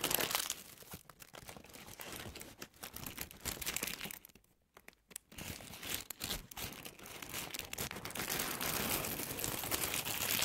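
A folded white paper tissue strip, held in both hands, is scratched and crinkled with long nails. The result is dense, bright crinkling and crunching with rapid, uneven scratches. It fades to near silence for a moment midway, then builds back to a steady, fuller rustle toward the end.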